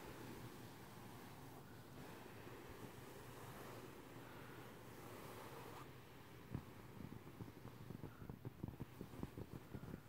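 A large, soft, filled cotton pillow with a paisley-print fabric is scratched and patted with the fingertips and medium painted nails of both hands. A steady, low, muffled scratching rustle fills the first six seconds. It then gives way to a series of soft, dull pats that continue to the end.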